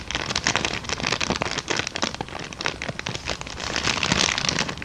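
An empty, hollow brown kraft paper bag, held up in both hands, is scratched, tapped and crinkled with long dark nails. The result is a dense, bright crackling rustle, like rain on a surface, with quick taps scattered through it.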